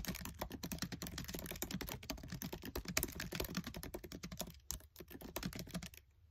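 Fingertips with short nails type fast on the black plastic keys of a MacBook Air keyboard set in an aluminium body. Rapid, crisp clicking keystrokes run almost continuously, each a short bright tap with a low thud underneath. The typing slows briefly near the end and then fades to quiet.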